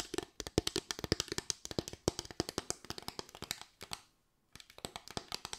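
Long white acrylic nails tap and scratch across a small board of parallel bamboo slats with gaps, making a rapid run of about 39 crisp, dry clicks with bright, short attacks and a light hollow ring. The tapping stops for about half a second near the four-second mark, then starts again at the same quick pace.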